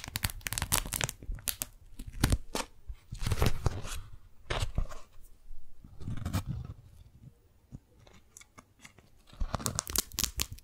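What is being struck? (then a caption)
Beeswax-coated cotton food wrap. A pink strawberry-print beeswax-coated cotton food wrap is handled by fingers that peel its stuck edges apart and crinkle the sheet. Sharp, bright tearing and crackling bursts come in clusters between quieter pauses, each burst with a low thump beneath it.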